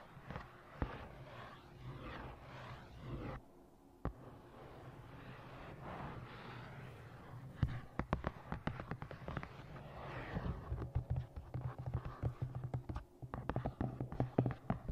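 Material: Cardboard.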